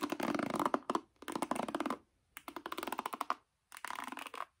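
A wooden paddle hairbrush with black nylon pins set in a yellow cushion is held face up while painted nails and fingertips pluck and scratch across the pins. Four separate bursts of rapid, dry ticking and scratching are heard, with a crisp, bright crackle over a midrange body. Each burst stops dead into short silences.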